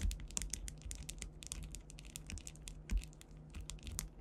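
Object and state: Rhinestone-covered panel.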